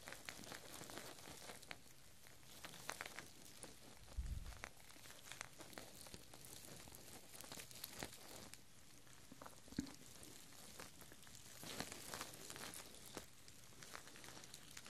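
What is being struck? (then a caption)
Strands of plastic artificial chili peppers on twine. Two strands of artificial plastic red, yellow and green chili peppers on twine are held up by the fingertips and gently shaken, so the peppers rustle and click together. The result is a quiet, continuous crinkling patter full of many small, bright taps, with a soft low thump around the four-second mark.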